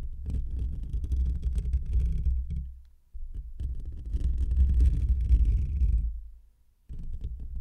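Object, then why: Metal wire-mesh microphone grille. Short fingernails and fingertips of both hands scratch the rounded black metal wire-mesh grille of a hollow desktop condenser microphone. The result is a deep, muffled, rumbling scratch with rapid irregular strokes, heard in three bursts separated by brief drops to near silence.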